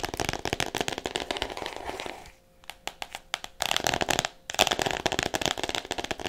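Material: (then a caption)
Cardboard, plastic. Fingernails tap rapidly on the front cover of an "All About Me" hardcover book in clear plastic wrap, the book solid beneath it. The taps come as fast, crisp, bright clicks with a crinkly plastic crackle. They thin to a few quieter, sparser taps midway before the dense rapid tapping resumes.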